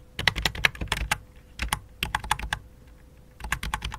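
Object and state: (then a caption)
Plastic computer keyboard. Fingertips with long dark nails type on the letter keys and numeric keypad of a full-size white and light-blue plastic computer keyboard resting on black cloth. Quick bursts of sharp, bright plastic key taps come in three clusters separated by short pauses.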